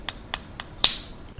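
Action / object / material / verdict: tap / raw egg shell tapped with a spoon / eggshell / cracked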